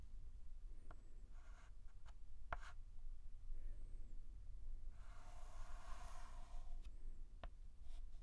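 A white chalk stick is scratched in line strokes across a large flat blackboard while outlining a letter. Quiet, scratchy strokes and brief sharp ticks sit over a steady low hum, with a longer, brighter scrape near the end.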